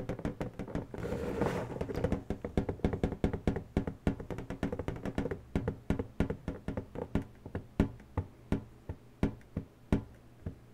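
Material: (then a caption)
Latex. Long natural nails tap and scratch the surface of an inflated, hollow pink latex balloon. Dense, rapid, hollow taps with a low resonant thump come first, with a brief soft scratching wash early on. The taps then slow and space out into sharper, distinct clicks.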